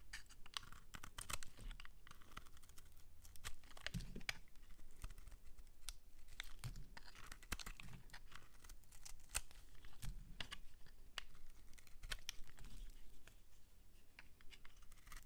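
A metal utility-knife blade scrapes and shaves the surface and edge of a solid, palm-sized pink bar of soap held in the hand. The result is a steady run of crisp, crackly scratches and quick clicking snaps, bright and dry, over a faint low hum, at a quiet level throughout.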